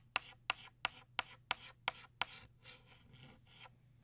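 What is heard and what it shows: A green chalk stick held in the fingers scratches across a flat black chalkboard in long strokes, drawing a stem and a leaf. Seven sharp, bright taps open each stroke through the first half, each trailing into a raspy scrape. Softer, longer scratching strokes follow, and a final sharp tap lands at the end.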